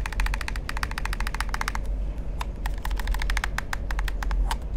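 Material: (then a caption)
Plastic. Fingertips tap and nails click rapidly on the buttons and hollow shell of a black plastic gamepad held in the hand, making dense, crisp clicks with a bright edge. A steady low hum runs beneath the clicking throughout.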